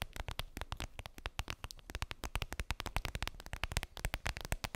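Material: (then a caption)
Vinyl. Long pink nails tap and scratch a clear vinyl makeup bag, a flat transparent PVC pouch with a daisy print and a zipper, lying on fluffy fabric. A rapid, dense stream of short, dry taps is heard, each with a soft low thump and a crisp, bright crinkly click that dies away almost instantly, with light scratchy rustling between them.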